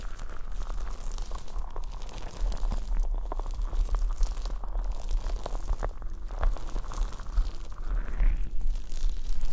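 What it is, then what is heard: Plastic liquid motion timer. Long painted nails tap and scratch the sides of a hand-sized, clear plastic, hourglass-shaped liquid motion timer, sealed and filled with coloured liquid and held upright. The result is a steady stream of quick, dry clicks and crinkly scratching over a constant low rumble, with short bright taps breaking through now and then.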